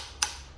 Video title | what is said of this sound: Mopar 361B reassembly - Part 10! | I can just barely tap it on. And you can hear the sound change.